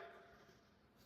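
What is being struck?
Nothing is struck.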